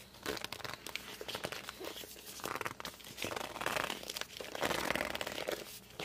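Fingertips and palms grip and squeak against the glossy cover of a hardcover book, making a dense run of dry crinkling, rubbing squeaks with bright, high friction tones. Short bursts swell and fade over the six seconds, each dying away almost instantly with no ring.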